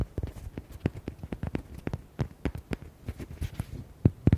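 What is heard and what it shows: Fingernails tap and scratch rapidly on the front and side of a red hollow rubber duck toy with white hearts. The taps are short, dull and low in tone, fall in an uneven quick rhythm, and die away almost instantly, with soft scratchy texture between them.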